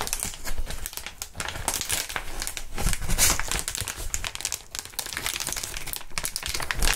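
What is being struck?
Plastic air column cushion wrap.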